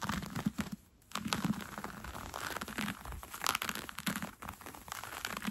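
Fingertips with red-painted nails scratch and rub along the elastic gathered waistband of brown cotton fleece sweatpants being worn, made of soft fabric. A dense run of crisp, crinkly scratching rasps fills the clip, pausing briefly near the one-second mark before picking up again. The sound stays close and dry, with bright, scratchy texture.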